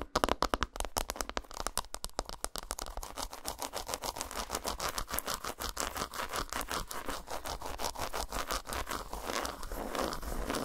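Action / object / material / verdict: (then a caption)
scrape / segmented dark chocolate bar tapped and scratched with fingernails / chocolate / none. Long nails tap and scratch a solid, segmented dark chocolate bar lying flat on a towel. Rapid, sharp dry clicks come first, then blend into a dense, steady run of fast scratching and crackly tapping with a bright, papery edge. Each hit stops almost instantly, with no ring.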